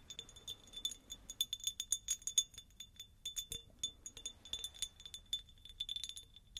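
A medium, hollow, empty-looking cut-crystal glass jar or vase with a faceted pattern is held in hand and tapped with long acrylic nails. Quick, dry clicks in rapid, uneven bursts each carry a faint bright ring that dies away almost at once.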